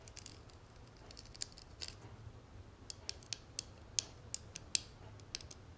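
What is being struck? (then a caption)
Small metal cigarette case tapped with fingernails. Long nails tap and scratch across the textured, dotted lid of a small, flat, gold-tone metal cigarette case lying on a marble surface. Sharp, bright clicks come at an irregular pace, with faint scratchy rasping between them over a low, steady background hum.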